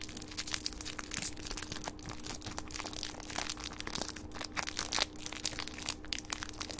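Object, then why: Small metallic foil wrapper. A small gold metallic foil wrapper is unfolded and scrunched between the fingertips of both hands, giving a dense, continuous run of bright crinkling and crushing crackles. A faint steady low hum sits underneath throughout.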